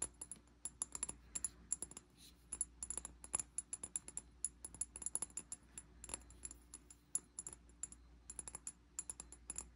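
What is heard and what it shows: Fingertips and nails tap rapidly on the glass side of a medium amber glass bottle with a dark cap and sticky label residue, held in both hands. Dozens of quick, dry clicks come in irregular bursts, each with a brief bright glassy ring. The taps stay quiet over a steady low hum.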